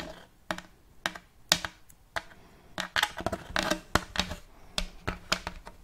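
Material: Wood.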